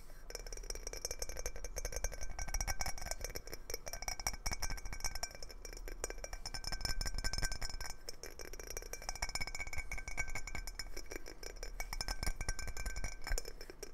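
A round clear glass jar lid with a knob is held flat and tapped quickly with fingertips and nails. The result is a rapid, continuous stream of bright, short clinks over a low steady hum, with faint ringing tones sustained underneath.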